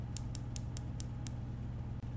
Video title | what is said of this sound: DIY Acrylic Nails - Coffin Nails | you'll know that they're dry when you hear this sound